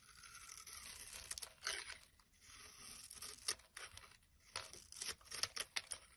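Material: Soap.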